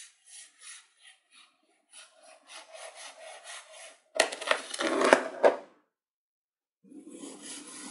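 A hand-held knife with a yellow handle slices down through small, solid, dome-shaped moulds of blue kinetic sand topped with blue glitter and set in loose glitter. Soft, rhythmic gritty scrapes build into a louder, crunchy burst of cutting, then after a brief silence a fresh gritty slice begins.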